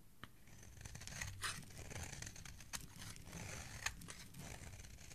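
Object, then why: Bar of soap scraped with a blade. A snap-off utility knife blade scrapes and shaves the surface of a solid yellow bar of soap, held in fingers with dark nails, into curls. Soft, continuous rasping scrapes with a bright hiss and low rumble are broken by a few crisp, sharp clicks as the blade catches and cuts.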